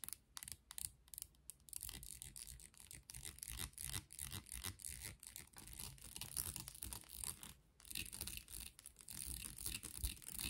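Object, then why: Wooden comb. Long nails strum and scratch along the teeth of a light, solid wooden comb with a handle. Quiet, rapid, irregular scratchy strums with a bright, hissy top and a low rumble underneath run throughout, with brief pauses near the start and just before 8 seconds.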